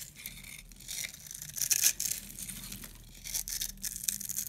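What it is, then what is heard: Dry soap bar, crumbly. A metal box-cutter blade scrapes and carves a grid into the surface of a solid, hand-sized yellow oval bar of dry soap held in the palm, peeling off crumbly yellow shavings. Quiet, bright, dry crunching and scratching comes in short bursts, loudest near the middle and again toward the end, with almost no low end.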